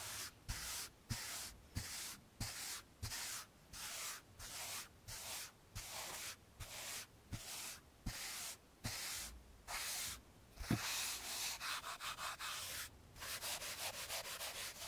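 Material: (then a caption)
Slate. A blue handheld eraser pad is rubbed back and forth across a framed chalkboard, wiping off a chalk drawing. About seventeen separate strokes each give a bright, dry scratchy hiss with a soft low thump where the pad catches, and the strokes turn quicker and shorter toward the end.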